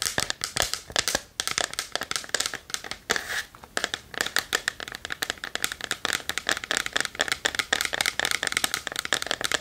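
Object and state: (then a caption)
Wooden chest tapped and scratched with nails. Long nails tap and scratch the wooden front of a small, hollow, varnished wooden chest held in both hands. The result is a rapid, continuous stream of crisp, bright clicks and scratchy crackles, with almost no low end. Each tap is dry and stops almost instantly.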